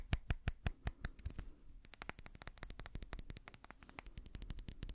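Fingertips and nails quickly tap and scratch a small amber glass dropper bottle with a white dropper cap, held close. Sharp, bright clicks decay almost instantly. A few louder, evenly spaced taps open the clip, then give way to a quieter, denser run of rapid tapping and scratching.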